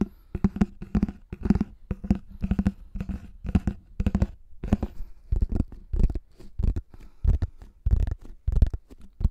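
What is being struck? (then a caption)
Thin plastic flying disc. A pink plastic frisbee with a thin hollow shell, held at microphone height, is tapped and scratched on its top and rim by fingertips. Irregular bursts of soft, hollow, low thumps come with a light scratchy rustle. Each tap dies away almost at once.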